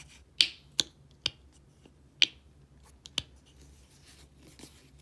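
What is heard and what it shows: A small dark squeeze tube of body wash, hollow and partly filled, has its blue plastic flip cap flicked open and shut and tapped by long painted nails. Five sharp, bright clicks come at irregular intervals with almost no ring, plus a couple of fainter ticks, over a quiet low hum.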